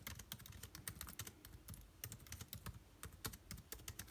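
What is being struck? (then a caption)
Laptop keyboard, plastic keys on aluminium body. Fingertips type fast on the plastic keycaps of an aluminium laptop keyboard, making a quick, quiet stream of short clicks. Each keystroke has a bright tap over a soft low thud and dies away almost instantly, with uneven rhythm throughout.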